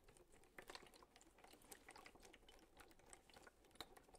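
A clear plastic bottle with a little water inside is tapped with fingertips and lightly crinkled in the hand. The result is a quiet, steady stream of short, bright clicks and crinkles, with a few sharper taps standing out.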